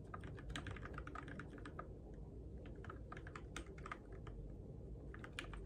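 Fingertips type steadily on a Keychron K6 compact RGB-backlit mechanical keyboard with plastic keycaps on switches, in the dark. Quick, bright plastic clacks come in uneven bursts over a constant low rumble, and each tap dies away fast.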